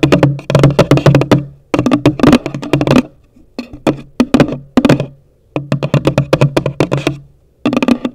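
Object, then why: Cardboard gift box. Long nails tap quickly on the top of a hollow, pale green cardboard gift box, producing rapid bursts of dry, clicky taps separated by short pauses. Each tap has a hollow, boxy thump with a bright click on top and dies away almost at once.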